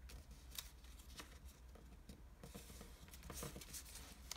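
A single green floral-patterned washi origami sheet of Japanese paper is folded on a table as fingertips crease and rub the folds. Short, bright papery swishes and crinkles come in quick bursts over a steady low hum.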